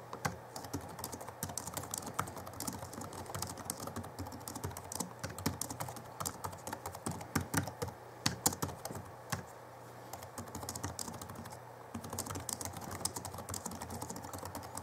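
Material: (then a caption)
Plastic. Both hands type rapidly with their fingertips on the backlit chiclet keyboard of a 2011 Alienware M11x R2 laptop, tapping its plastic keys. Quick, short, bright clicks run in a dense, uneven stream with a brief lull near the ten-second mark, over a faint steady low hum.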